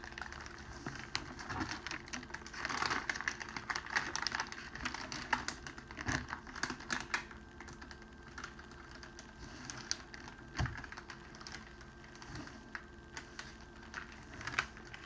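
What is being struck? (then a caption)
Cellophane wrapping sheet. A flat, clear cellophane wrapping sheet lying on a table is rubbed and pressed with the fingers and palm while the other hand partly lifts it. It gives a steady run of dense, bright crinkling and sharp crackles with a few louder snaps, over a faint low background.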